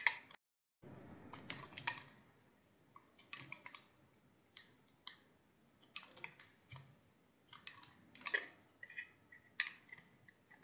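A utility knife shaves thin strips from a solid, hand-sized, cream-white soap bar with a blue rim. It produces a series of short, crisp, bright scraping and clicking cuts with quick decays and quiet pauses between them, plus a brief silent gap near the start.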